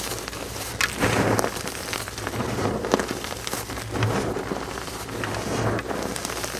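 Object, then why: Gym chalk powder and pressed chalk chunks. Bare fingertips scoop, squeeze and crumble a pile of pale green dyed gym chalk powder and crumbled pasted-chalk chunks on a flat surface. The result is a steady, dense crackling and crunching with soft rustling, punctuated by several slightly louder crumbly bursts over a faint low hum.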